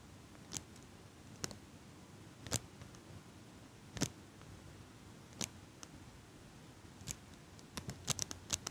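A small metal eyelash curler, held close by fingers with pink nails, has its handles squeezed to make a series of sharp, bright metallic clicks. The clicks come spaced over a quiet, low background hiss and bunch up quickly near the end.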